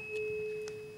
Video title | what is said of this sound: The Couch - Episode 525 | It lasts for a while, doesn't it? It lasts for a while.